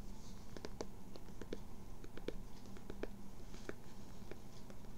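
A blue Red Sox baseball cap with a floral print, structured fabric crown and brim, is held hollow in both hands while long nails scratch and tap its fabric front panel. Quick, dry taps and scratches sound over a steady low hum, each dying away almost at once.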